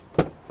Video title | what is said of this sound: THESE door window vents are brilliant | it sounds solid if they're not moving not going anywhere